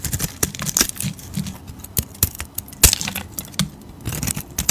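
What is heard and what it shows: A utility blade carves and scrapes a solid cream oval soap bar, producing a rapid, irregular series of crisp, bright scraping clicks and short shaving strokes. The sharp attacks die away quickly, with some low, soft thuds beneath the bright crackle.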